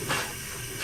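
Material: Nothing is struck.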